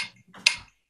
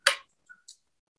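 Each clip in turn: First: brass saxophone neck. Second: saxophone neck of a different alloy.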